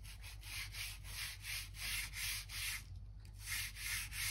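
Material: Wood.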